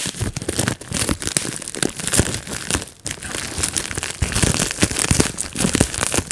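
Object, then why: Plastic bubble wrap sheet. A large sheet of clear plastic bubble wrap rests on a lap while fingertips pinch and pop the air bubbles over and over. Dense, crackling pops and crinkling plastic rustle fill the clip, with sharp bright snaps scattered throughout and almost no ring after each one.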